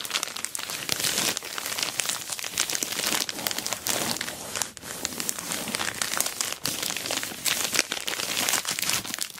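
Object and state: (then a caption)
Plastic mailer bag crinkling. Long black nails scratch and fingertips rub and squeeze an orange glossy plastic Temu shipping bag wrapped around a rectangular box holding a dual-camera dash cam, resting on a table. A steady run of bright, dense crinkling and crackling continues throughout, with very little low end and brief dips between bursts.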